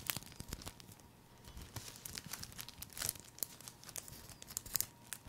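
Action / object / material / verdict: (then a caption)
scrape / thin plastic cellophane sheet / cellophane / none. A thin, crinkly sheet of green cellophane wrapping, folded and hollow, is held in one hand and crumpled and rubbed with the fingertips close up. Quiet, bright crackling and crinkling fills the clip, broken by sharp, dry snaps that die away instantly, over a faint steady tone.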